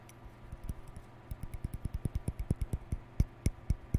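Fingertips and nails scratch and flick the white plastic bristles of a hollow plastic round hair brush with a lilac end cap. About twenty soft, dull tapping clicks follow one another in an irregular, quickening patter, each dying away at once. The clicks are quiet and low-heavy over a faint background hiss.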